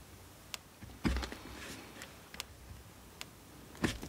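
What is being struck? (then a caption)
Solid bar of soap scraped by a steel knife blade. A steel multitool knife scrapes a solid, carved blue bar of soap held in the hand. About nine short, bright scraping clicks and scratches are heard over a quiet background, with the two strongest around one second and near the end carrying a low thump.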